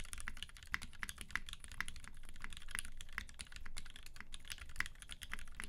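Both hands type continuously with their fingertips on a UTD 360C tenkeyless mechanical keyboard with a gummy-worm mount, Vintage Black switches lubed with 205g0 and filmed, white PBT keycaps, and a silver aluminum case. A steady stream of short, dry key clacks with a bright click peaking around 2 kHz rides over a soft low rumble, each press dying away almost instantly.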